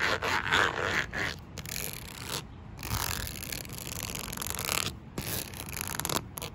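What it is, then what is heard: Perforated plastic panel. Long nails and fingertips tap and scratch across a flat, perforated black plastic panel with a grid of small holes, like a mat or chair seat. Rapid, irregular scraping and rubbing is heard with bright, hissy friction, broken by short pauses.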